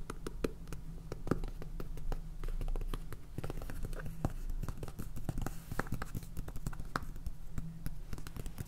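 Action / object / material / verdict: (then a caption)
tap / small plastic jar of salt with plastic lid / plastic / none. Fingernails tap quickly and repeatedly on the purple plastic lid and body of a small clear plastic jar full of salt, producing many short, dry clicks and ticks. A steady low hum runs underneath the whole time.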